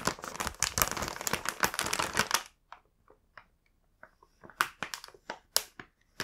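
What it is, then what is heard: Plastic snack bag. A large, full, printed plastic bag of Home Pie cookies is held and moved while fingertips press and rub it. For about the first two and a half seconds, dense, bright crinkling pours out continuously. After that, it thins into separate short, sharp crackles with quiet gaps between them.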